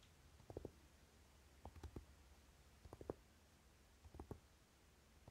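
Fingertips and short nails of both hands tap quickly on the dark velvety cover of a closed Naked eyeshadow palette. Four short bursts of soft, dull, low taps are heard, each dying away almost at once, with quiet stillness between them.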